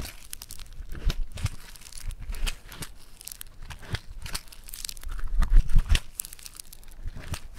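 A lump of yellow Floam foam-bead clay is pinched, pulled and kneaded with fingertips, giving a steady run of crinkly, crackling pops. Bright, dense snaps sit over soft, low squishes, with a louder burst of crackling around the middle of the second half.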